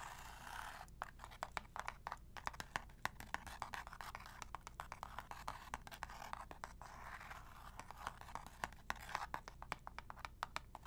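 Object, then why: Small cardboard box. A small, hollow, printed cardboard medicine box, held in both hands, is tapped and scratched with long nails. The result is a quiet, steady run of rapid, dry taps mixed with papery scratching, each tap dying away almost instantly over a faint low hum.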